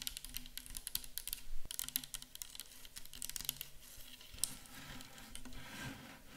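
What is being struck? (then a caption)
Plastic bottle of liquid. Long acrylic nails tap rapidly on a clear plastic micellar water bottle full of liquid, first held in the hands and then set on a table. The quick, bright clicks come in dense flurries, each dying away almost instantly over a soft low thump.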